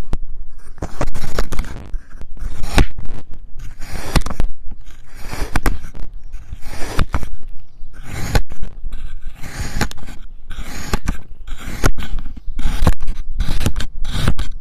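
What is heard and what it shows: A solid triangular wedge of purple and yellow kinetic sand is sliced into thin strips with a white ceramic knife fitted with a clip-on mic. Close, crunchy scraping and crackling cuts repeat in quick bursts with short pauses between, each cut dense and grainy with a deep low thump.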